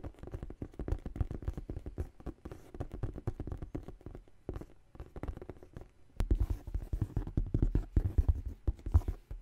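Long nails tap and scratch the side panel of a large tan faux leather tote bag. The result is a dense run of soft, dull, low thuds and scuffs with almost no ring. The tapping grows louder and busier in the last few seconds.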